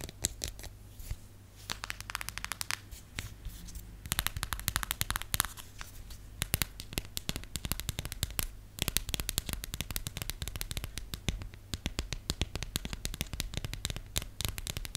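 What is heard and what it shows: Long nails rapidly tap and scratch a thin, hollow, cream-colored plastic phone case printed with the periodic table, held in the hand. The result is a dense stream of sharp, dry, bright clicks with quick scratchy bursts and no ring, over a steady low hum.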